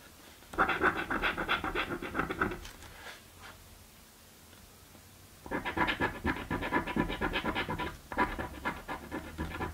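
A coin scratches a thin, flat, purple cardboard paper scratch-off lottery ticket in dense, bright, raspy strokes. The scratching comes in a long burst, then a quiet pause with faint rustling, then two more bursts of scraping to the end.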